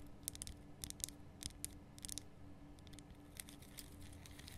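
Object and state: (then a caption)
Rock salt lamp tapped and scratched. Long fingernails tap and scratch the solid, rough surface of a large, lit pink Himalayan rock salt lamp. Quiet, bright clicks and short scrapes come in irregular clusters, each dying away almost instantly, over a faint, steady low hum.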